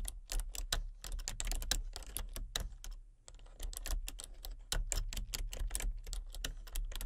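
Long painted fingernails tap quickly across a full-size plastic computer keyboard with a hollow body and color-changing backlit keys, in a dark room. The result is a dense run of short, bright, clicky keystrokes over a steady low hum, with a brief pause around the three-second mark before the typing resumes.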